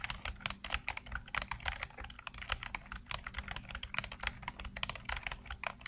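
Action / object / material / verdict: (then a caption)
tap / plastic computer keyboard / plastic / none. Fingertips type continuously on a black plastic computer keyboard with hollow keycaps and blue-lit keys. A rapid, uneven stream of short, bright plastic clicks and clacks dies away almost instantly, over a faint steady low hum.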